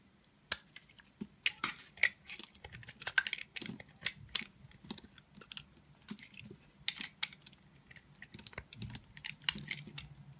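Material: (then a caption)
Soap. A thin remaining piece of a solid blue soap bar, held in the fingers, is scraped and cut with a red-handled utility knife blade. Many short, crisp, bright scraping ticks and clicks come in irregular bursts, each dying away almost at once, over a faint low hum.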